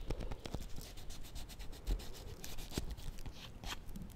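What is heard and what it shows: Fingernails tap and scratch on a small solid bar of soap in a white paper wrapper with a purple label, held in the fingers. Quick, dry taps with soft low thumps mix with bright, papery scratching and rubbing, all at a quiet level. The taps die away almost at once.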